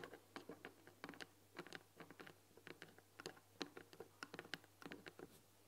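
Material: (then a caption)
Wood. Long dark-painted fingernails tap quickly and irregularly on the front panel of a long, hollow, white painted wooden tea box with "THÉ" lettering on the front and a glass-window lid, filled with tea packets. The taps are quiet, short, dry clicks with a light hollow tone and bright edges, over a faint steady low hum.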